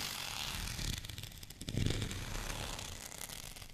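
Fingernails scratch across a white, bumpy plastic rolling pin held in one hand, making a dense, bright, raspy scratching with quick ticking textures. Low rumbly handling noise swells briefly near the middle before the scratching settles into a steady hiss.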